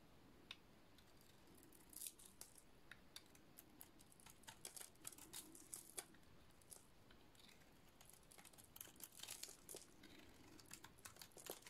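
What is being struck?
Painted soap bar.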